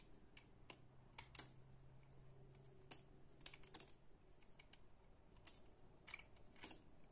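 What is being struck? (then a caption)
Bar of soap cut with a utility knife. A green utility knife slices and scrapes small cubes from a solid, palm-sized bar of soap held in both hands; the soap has a pale green base and a purple coating scored into a grid. The blade makes quiet, crisp, bright clicks and scratchy crunches as it cuts through the solid soap, with each sound dying away quickly. A faint, steady low hum runs underneath for the first few seconds.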